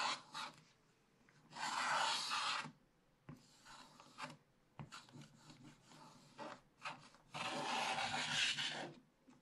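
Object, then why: Wax-coated paper scratch-art page scraped with a wooden stylus. A wooden stylus held in the fingers scratches the black wax coating off the thin paper page of a spiral-bound scratch-art book lying flat, revealing a printed bear picture, with a brush resting unused beside it. The sound is a dry, bright, raspy scratching in uneven bursts, with two long, louder stretches of steady rubbing separated by lighter, shorter strokes.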